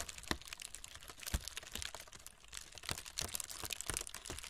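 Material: Paper.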